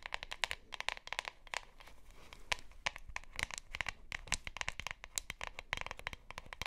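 Long nails scratch and tap along the sides and bottom of a hollow plastic deodorant stick container with a printed label and white cap. A rapid series of sharp, bright clicks and taps mixes with crinkly scratching and fades quickly after each touch.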